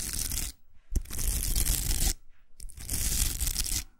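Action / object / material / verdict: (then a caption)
scrape / plastic hair roller with velcro surface / plastic, velcro / none. Long acrylic nails scratch across the velcro hook surface of a large, hollow, empty pink plastic hair roller and tap on it. Three bursts of harsh, bright, rasping scratching are heard, separated by short pauses, with a sharp tap opening the second burst.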